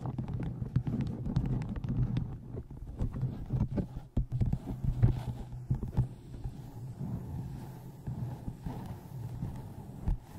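Fingertips and long nails tap the side edges of a paperback book and its cover near the spine. The result is a steady run of soft, dull, closely spaced taps, mostly low in tone, with a faint low hum underneath.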